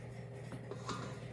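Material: Nothing is struck.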